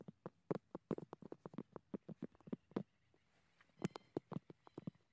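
Gloved fingertips tap a large, solid fallen tree trunk of dry, grey, weathered wood with cracks, outdoors. About 24 short, dry, hollow knocks sit in the low-mids and die away almost instantly. They come in a quick, uneven patter, pause briefly around the three-second mark, then resume.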